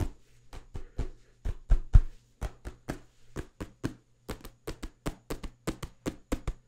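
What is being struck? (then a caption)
Paperback book, paper cover. A small, solid paperback book is held flat in front of a microphone and tapped rapidly on its cover with the fingertips. About 25 quick, dull, low thuds follow one another at an uneven pace, each dying away almost at once.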